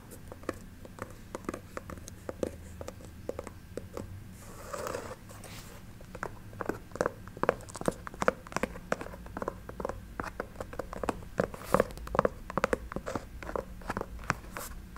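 An empty white, green and black chunky sneaker with a synthetic leather and mesh upper and a thick foam-rubber sole is held in the hands and tapped and scratched with long nails. Quick, dry, short clicks come in rapid, uneven bursts throughout, with a softer, hissing scratching passage around the five-second mark. The clicks stop almost instantly, with no ring.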